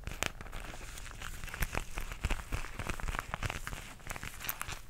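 Long nails tap and scratch across a flat, pink, embossed, textured faux leather zipper pouch about the size of a book. The result is a steady run of dry, crinkly scratching broken by short, sharp taps that die away at once. The sound has a dull low body and bright clicky edges.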